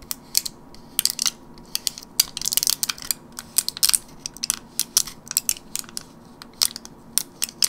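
Fingernails tap and scratch the plastic and foil side of a teal printed gum blister pack held in a palm. The result is an irregular run of sharp, bright clicks and crisp crinkling scratches that come singly and in quick clusters. Each sound is dry and dies at once, with almost no low end.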